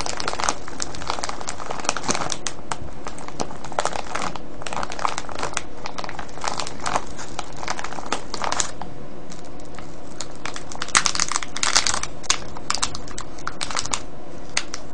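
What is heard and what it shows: A clear cellophane bag full of foil-wrapped candies is tapped and scratched quickly by fingertips and nails. Bright, dense crinkling and crackling runs steadily throughout, with sharper bursts of rustling near the end.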